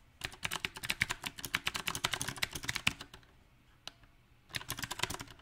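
Both hands type with their fingertips on a compact backlit mechanical keyboard with round plastic typewriter-style keycaps. Quick, bright clicky key taps come in an uneven burst, then thin to a near-quiet pause with a single tap. A second flurry of taps follows.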